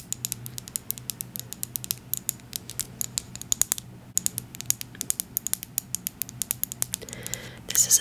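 Long acrylic nails rapidly tap and scratch a small, filled amber glass oil bottle with a dropper. The taps are short, crisp and bright, with no ring, over a faint low hum. A louder, rougher scratching swell comes in near the end.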